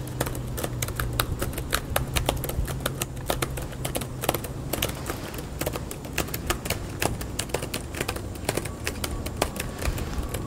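Fingertips tap steadily on the white plastic keyboard of a small laptop resting on a green metal mesh picnic table outdoors. Sharp, rapid clicks ring out in an uneven typing rhythm over a steady low hum.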